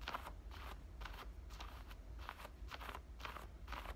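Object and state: Denim shorts pocket being scratched.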